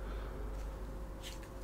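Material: Nothing is struck.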